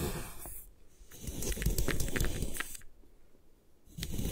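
A metal putty knife scrapes along the edge of a solid white compressed gym chalk block held by a long-nailed hand, cutting off crumbly chalk slabs. Dry, gritty crunching and scraping come in bursts, loudest in the middle and again at the end, with quieter pauses between. A dull low rumble sits under the crackly texture.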